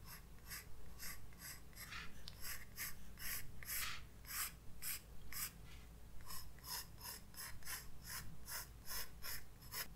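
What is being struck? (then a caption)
Graphite pencil on a paper sketchbook page. A graphite pencil scratches sketch lines across a white paper page of a spiral-bound sketchbook resting on a desk. Short, bright, raspy strokes come in an uneven rhythm over a steady low hum.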